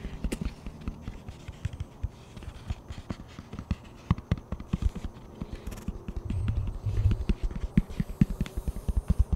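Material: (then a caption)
Plastic. Fingertips tap the top surface of a plastic frisbee disc held flat and tilted, producing a long run of quick, dull, low taps that die away almost instantly. Around the middle of the clip the tapping briefly blurs into a denser, rumbling patter before returning to separate taps.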